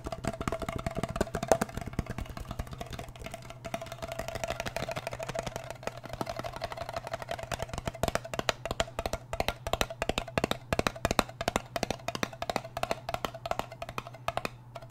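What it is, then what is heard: Metal cream tin. Fingernails rapidly tap the side band and lid edge of a small round blue metal Nivea cream tin, producing quick, dry clicks with a faint metallic ping around 650 Hz that dies away almost instantly. The tapping runs continuously through the clip over a steady low hum, growing denser and more pronounced in the second half.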